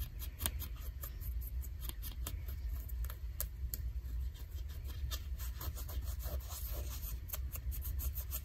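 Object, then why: Denim jeans fabric. Fingers and nails scratch and pick at the frayed hem of ripped light blue denim jeans. The result is a quiet, steady rasp over a low rumble, broken by frequent short, bright scratchy ticks that die away almost instantly.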